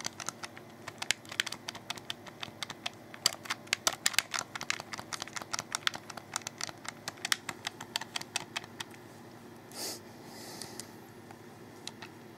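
A black, hollow, wired plastic Xbox 360 controller is held in both hands and clicked repeatedly with the fingertips, first on the triggers underneath, then on the face buttons and thumbsticks. The result is dozens of sharp, bright, dry clicks with almost no ring, followed near the end by a brief soft swell and a faint hiss.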